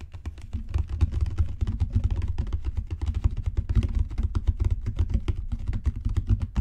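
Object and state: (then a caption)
Leather book cover. Fingertips and long natural nails tap rapidly on a solid, dark brown genuine leather book cover with raised spine bands. The result is a dense, steady stream of soft, dull, muffled taps that die away almost instantly, with energy concentrated in the lows. Some low background rumble runs underneath.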